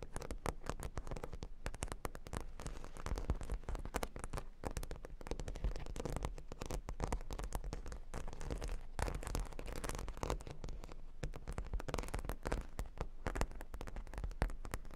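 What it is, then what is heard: Plastic pearl studs on cork board. Long pink acrylic nails scratch and tap across a flat rectangular cork board covered with a sheet of small plastic half-pearl stickers lying on a table. The result is a steady, dense stream of rapid, crackly clicks and scrapes with a deep, bassy weight and almost no ring after each tap.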